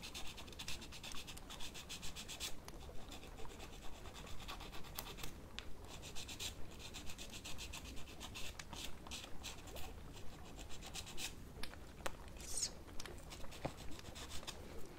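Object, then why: Plastic false nail on a silicone practice finger, filed with an emery board. An emery nail file is rubbed repeatedly across the tip of a plastic false nail on a solid silicone practice finger held up in the hand. The steady back-and-forth filing gives soft, dry scratching strokes at about one per second, each with a brief bright rasp.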